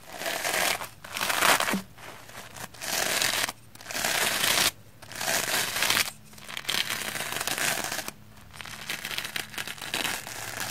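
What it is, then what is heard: Soapy plastic foam sponge. A red, soapy, porous plastic foam sponge is brushed rapidly with a round black-bristle hair brush. Bursts of bright, wet crackling and scratchy rustling come in waves, with short quieter gaps between the strokes.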